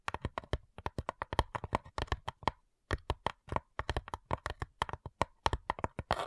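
Long nails tap quickly on the lid of a flat, light-wood, hollow cigar box, about 35 short, dry clicks in uneven bursts with a brief pause in the middle. Each tap is a quick hollow knock with a low body thump under a mid-range click, dying away almost instantly.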